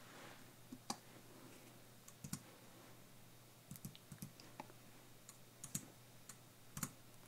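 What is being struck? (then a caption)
Computer keyboard with plastic keys on a metal base. Fingertips type on a slim white Apple-style keyboard, with plastic keys on a metal base, lying flat on a tablecloth-covered desk. About fifteen quiet, sharp, bright key clicks land in an irregular tapping pattern, each dying away almost instantly. A faint steady low hum runs beneath them.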